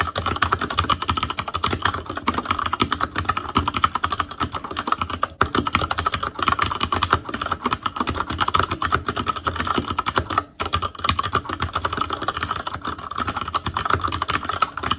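An ASUS ROG Claymore Core mechanical keyboard with Cherry MX Red switches, black plastic keycaps on a metal frame and a hollow RGB-backlit housing is typed on continuously with the fingertips of both hands. Dense, rapid clacking keystrokes fill the clip with a steady mid-range tone around 1.3 kHz and a low hum underneath. Brief pauses in the typing occur around 5 and 10.5 seconds.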